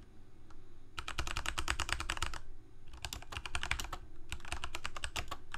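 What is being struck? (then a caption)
Plastic mechanical keyboard. Fingertips of both hands type continuously on a full-size black plastic Corsair K68 gaming keyboard with backlit keycaps, Cherry MX Red switches and a hollow plastic case. Three runs of fast, crisp key clicks with bright tops and a steady low rumble come through, broken by two brief pauses. Each click dies away almost instantly.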